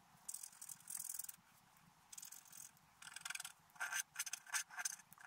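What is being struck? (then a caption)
Black-coated scratch-art paper card scraped with a wooden stylus. A wooden stylus scrapes along the frame line of a flat, black-coated scratch-art paper card. The result is a series of dry, bright scratching strokes in uneven bursts, some long and some short and quick, with quiet pauses between them and almost no low end.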